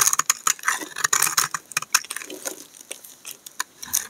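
A solid pink and white bar of laundry soap is scraped with a utility knife blade, shaving off flakes that fall away. A rapid series of short, crisp, bright scraping strokes sounds with a dry, papery crackle and almost no low end.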